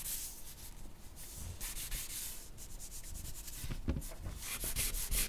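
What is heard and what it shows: A charcoal stick scratches across a flat white sheet of drawing paper bearing a charcoal portrait as the hand shades and makes short strokes. The sound is a steady, dry rubbing hiss with bright grainy texture and soft low thumps, growing a little louder and choppier toward the end.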